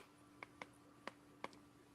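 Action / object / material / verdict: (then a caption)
tap / comic book with a metal cover / metal / none. A comic book with a metal cover, the number one issue, is tapped to show by ear that it is metal. Four short, bright clinks ring out over a steady low hum, each dying away almost at once. The taps sound metallic, as expected for the metal cover.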